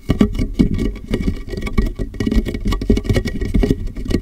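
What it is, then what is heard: Plastic water jug tapped with fingertips. Fingertips tap quickly and steadily on the ridged side of a large, empty, clear plastic water jug that rests upside down on a microphone. The hollow jug returns a rapid patter of dull, boomy taps centered low around 200 Hz. Each tap dies away almost at once, with very little high end.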